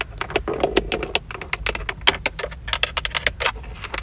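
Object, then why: Plastic steering wheel airbag cover. Long acrylic nails tap and scratch across the centre of a Toyota steering wheel, a hollow-sounding fixed textured plastic airbag cover with a chrome emblem ringed by a leather-wrapped rim. A rapid run of sharp, bright clicks with almost no ring mixes with softer scratching, over a low steady hum.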